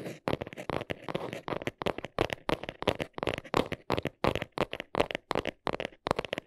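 Long nails scratch and tap the underside of a small brown cardboard box held up close. The result is a quick, uneven run of short, dry, papery bursts, with a mid-range body and a scratchy, bright top. Each burst stops dead, with no ring between them.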